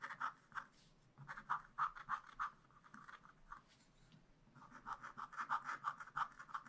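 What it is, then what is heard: Scratch-art paper being scratched. A wooden stylus scratches lines into black wax-coated scratch-art paper in a spiral-bound pad, drawing trees. Short, dry scratching strokes come in uneven bursts, with a bright rasp centered around 1.2 kHz. A quieter pause falls in the middle, then the strokes pick up again.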